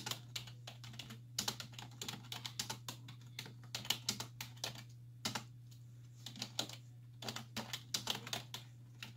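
Long nails and fingertips type rapidly on the hollow keys of a black plastic computer keyboard resting on a wooden desk. Dense bursts of short, bright, clicky taps come in quick runs separated by brief pauses, over a steady low hum.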